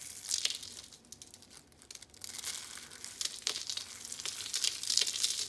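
Yellow and patterned dry soap curl rolls are held in the hands and crushed by the fingers, crumbling into flakes. A dense, bright crinkling crunch comes in uneven bursts, with a quieter stretch in the middle before the crackling builds up again.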